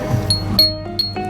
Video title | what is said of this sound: JAPAN AND KOREAN SURPLUS DINARAYO SA DAMING PAG PIPILIAN,GUADALUPE COMMERCIAL COMPLEX | Talagang tumataging-ting